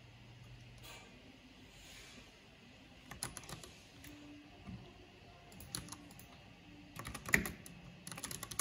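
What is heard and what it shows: Fingertips with long painted nails type and click steadily on a backlit plastic mechanical keyboard with black plastic keycaps. Quiet, sharp clicky keystrokes come in short scattered bursts, with the loudest click near the end.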